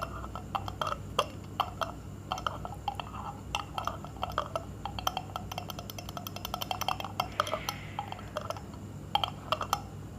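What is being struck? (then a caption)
Glass jar. A glass jar or glass bottle is tapped and clinked in a rapid, irregular series of short, bright hits. The clinks ring around 1.2 kHz and decay almost instantly over a low, steady background hum.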